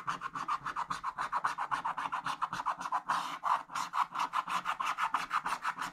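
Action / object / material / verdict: scrape / wax-coated scratch-art card scraped with a wooden stick / coated paper / none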